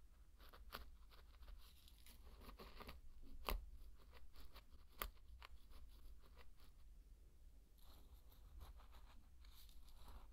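A thin wooden stick stirs and scrapes through dry pearl barley grains, making soft, scattered crunchy rustles with a few sharper clicks. A steady low hum runs underneath the whole time.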